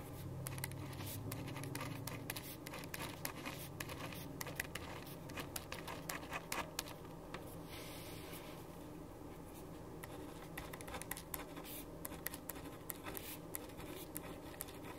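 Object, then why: Ballpoint pen on paper sheet. A black ballpoint pen writes on a white sheet of paper resting on a wooden desk. Quiet, irregular scratchy strokes and short taps come in quick bursts, brightening briefly with each stroke. A steady low rumble sits underneath throughout.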